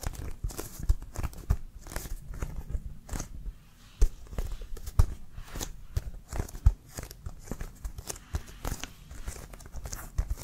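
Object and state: Leather American football, tapped and scratched.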